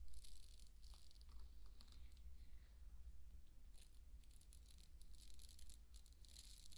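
Handfuls of dry pearl barley are scooped up and poured from the palm onto a bed of the same grain. The grains make a soft, bright rattling hiss in irregular bursts, over a steady low hum.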